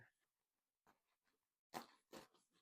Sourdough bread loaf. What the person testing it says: it sounds nice when I knock onto it